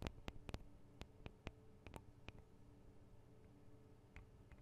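Long acrylic nails tap the small hollow metal microphone capsules, with their metal guard wings, on a Tascam DR-40 recorder. About eleven sharp, dry clicking taps come close together in the first two seconds, then thin out to a few, each dying away almost instantly. A steady low hum sits underneath.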